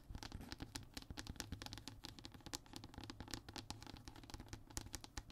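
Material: Fiberboard.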